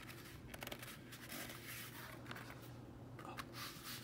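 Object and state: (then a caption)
Plastic batting helmet. Bare fingertips rub and tap the outer shell of a hollow, hard plastic baseball batting helmet with a matte black finish while turning it in the hands. Quiet, dry scratchy rubbing is broken by light, short taps over a faint steady low hum, with brief bright scraping textures.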